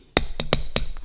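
A thin, lightweight budget plastic vegetable corer is tapped against a camera lens to show how light and flimsy it is. A few quick, dry, hollow plastic clicks with a short, woody knock sound out, each dying away almost instantly.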